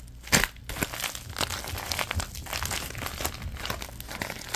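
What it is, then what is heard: Thin plastic bag being crinkled. A thin orange plastic bag is balled up and crinkled in the hands. A sharp, loud crackle near the start gives way to a steady stream of bright, dense crinkling and crackling that continues to the end.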